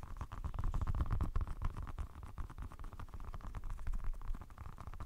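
A small, green, soft rubber orbeez stress ball filled with water beads is held in the fingertips close to the microphone and squeezed and rubbed. It makes a steady run of low, wet, squishy crackles with a faint mid-range hiss and no bright top.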